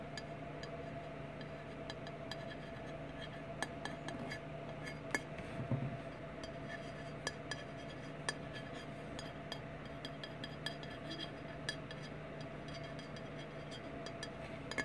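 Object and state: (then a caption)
Glass bottle being tapped. Fingertips and nails tap on a clear glass Fireball whisky bottle with a paper label, lying on its side on a wooden table and partly full of amber liquid. Quiet, short glassy clicks and clinks come at irregular intervals over a steady low background hum.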